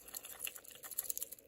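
A stainless steel chronograph wristwatch, either the Sekonda Circuit or the Fossil Briggs, is shaken, producing a quiet, rapid, high-pitched rattle of about nine light clicks. The rattle points to loose internals and suggests the watch is less well put together.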